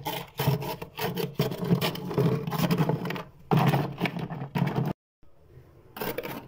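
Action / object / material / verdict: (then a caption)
scrape / freezer frost buildup scraped with a plastic scraper / frost / none. A hand scrapes and pries at a thick, fluffy frost buildup of solid ice crystals on a freezer wall with a white plastic scraper, pushing off soft slabs. Dense, crunchy rasping comes in repeated bursts, broken by a brief silence near the end before a final scrape.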